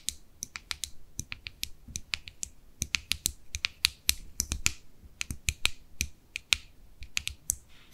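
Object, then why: Plastic cosmetic jar. Long manicured nails tap and click on the closed lid and sides of a small white plastic cosmetic jar with a label, held in both hands. The result is a rapid, irregular run of sharp, dry, bright clicks with almost no ring, over a faint low rumble.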